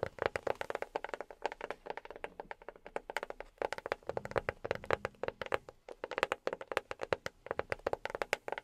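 A box is tapped rapidly with silicone rubber pads worn on the fingertips. Dozens of quick, soft taps follow one another in uneven bursts, each a short, dull knock centered around 520 Hz that dies away almost instantly.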